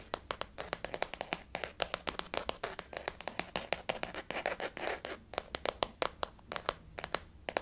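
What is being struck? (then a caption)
Faux leather zip wallet. Long fingernails tap rapidly across a flat, hollow, blue floral-print glossy faux leather zip-around wallet lying on a white table. The result is a quick, irregular run of sharp, dry clicks with almost no ring, centered in the mid-range with a bright edge. Faint scratchy rustles sit between the taps.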